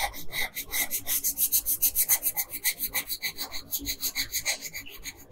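A wooden colored pencil with long pink nails gripping it shades small areas of a thin paper coloring sheet lying flat on a table. The short, scratchy strokes come in a quick, slightly uneven rhythm and sound bright and raspy, with little low end.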